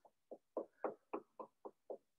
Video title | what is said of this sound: RBCM@Home (Kids): Museum Field Trip! | it's it's hollow inside so it it looks like a real tree but it isn't